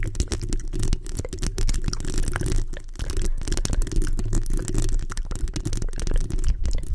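Long acrylic nails on both hands scratch and tap the hollow round metal mesh grille of a black USB microphone. The result is a dense, continuous stream of quick scratches and short taps, heard as deep, boomy low-end thumps with a faint bright crackle on top.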